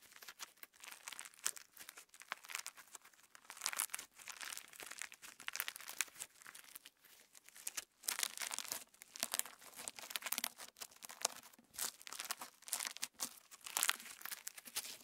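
Clear slime filled with plastic star sequins is folded and squished between the fingertips, and the star sequins crinkle inside it. The sound is a quiet, dense stream of bright crinkling and crackling bursts with no low end, rising and falling in short clusters for about fifteen seconds.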